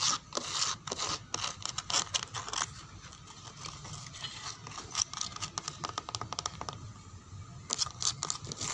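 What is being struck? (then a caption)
Wooden door. Long nails scratch and pick at the surface of a dark brown wooden door with a small damaged spot. The result is a steady run of dry, bright, crackly scrapes and quick ticking picks, louder in bursts at the start and end with a softer stretch in between.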